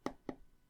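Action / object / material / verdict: tap / smartphone with glass body / glass / hollow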